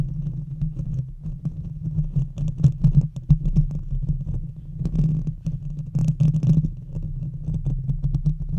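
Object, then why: Metal mesh microphone grille. Long red fingernails of both hands scratch across a hollow metal mesh microphone grille. The result is a dense, low, rumbling scratch with a steady hum underneath, broken by quick scratchy bursts and brief brighter rasps that swell and fade throughout.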